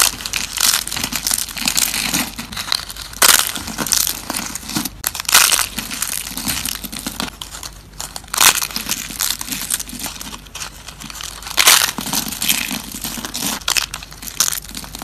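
Thin, dried green soap slices are broken and crushed between fingers, making a steady stream of dry, bright crunching and crinkling snaps. Louder, sharper cracks stand out near 3, 5.5, 8.5 and 11.7 seconds.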